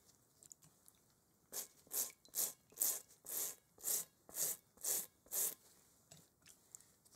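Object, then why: Inflated rubber playground ball scrubbed with a bristle brush. A large hollow inflated rubber kickball with a textured pebbled surface, held in one gloved hand, is scrubbed with a small bristle brush held in the other, with wet bowls on the table nearby. Nine steady, evenly spaced brush strokes make bright, scratchy bursts of hiss, with faint small ticks before and after.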